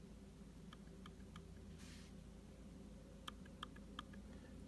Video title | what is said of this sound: Trackpad Click On The 2016 MacBook Pro 15" w/ Touch Bar Sounds Hollow and Mushy | nice and solid The Click sounds great